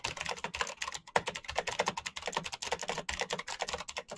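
Both hands type fast with their fingertips on a black plastic mechanical keyboard with a backlight. The result is a quick, uneven stream of short, bright, clicky keystrokes with almost no low end and no ringing.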